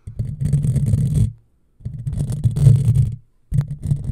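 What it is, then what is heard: Metal mesh microphone grille being scratched. Long fingernails scratch a hollow black metal mesh microphone grille, with some hand movement above it. Three bursts of close, deep scratching rumble sit mostly in the low end with faint high crackle, separated by short silences.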